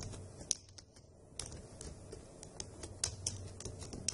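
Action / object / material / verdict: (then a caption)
tap / plastic laptop keyboard keys tapped by nails / plastic / none. Long acrylic nails and fingertips type on the hollow key caps of a dark grey plastic laptop keyboard, making repeated quick, bright clicks and taps. The taps are uneven, with a few sharper nail strikes standing out over a quiet low background.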